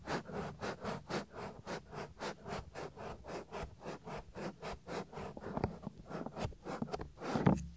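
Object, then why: Silicone ear of a binaural microphone. Fingertips rub back and forth across the ear flap of a soft, solid silicone ear on a 3Dio binaural microphone. The result is a steady rhythm of soft, muffled swishing strokes, mostly low with a faint airy top. The strokes grow rougher and slightly louder toward the end, closing with a heavier low thump.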